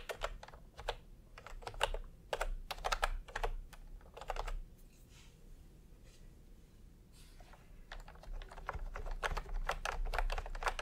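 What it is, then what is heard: Plastic keyboard being typed on. Fingertips tap on a full-size plastic typewriter-style computer keyboard with round retro keycaps in peach and cream, lying on a white cloth. Irregular runs of short, bright clicky keystrokes sound over a steady low background hum, with a quiet lull in the middle before the typing picks up again.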